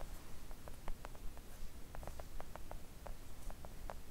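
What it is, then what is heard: Silicone mat tapped with nails. Long acrylic nails on both hands tap a thin, solid, flat pink silicone mat. The result is a steady, slightly irregular run of soft, short, dull clicks that die away almost instantly, over a low background rumble.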